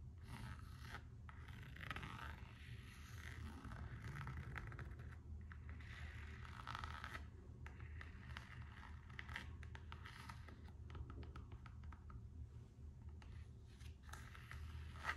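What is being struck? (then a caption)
Coated canvas and rubber slide sandal. Long acrylic nails scratch and tap the printed coated-canvas strap of an empty pair of Gucci slide sandals with rubber soles. Dry, rasping scrapes come in bursts, with brief ticking taps between them. The sound stays quiet and steady over a constant low hum.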